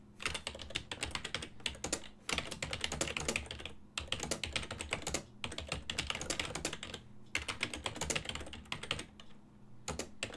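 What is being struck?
Plastic computer keyboard.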